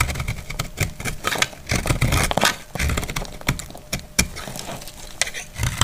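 A solid, dried, rounded green soap bar is held in the hand and cut with a metal utility blade, chipping off brittle pieces. Sharp, bright cracks and snaps sound in quick irregular bursts, each dying away almost instantly, over a dull low rumble of handling.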